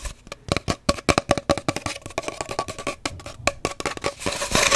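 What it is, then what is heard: Cardboard paper towel roll. A hollow cardboard paper towel roll is tapped and scratched quickly and somewhat chaotically, giving a rapid run of about 29 short, dry, hollow taps with a faint tone near 550 Hz. Hissy scratching grows louder toward the end.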